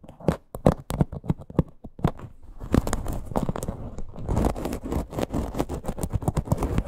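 Long green nails scratch along the sides of a small teal faux leather crossbody purse with a stitched parrot appliqué. Separate dry, raspy strokes come first, then merge after about two seconds into a denser, continuous scratching that grows busier and rougher toward the end. The sound is mostly low and mid-range, with short bright edges on each stroke.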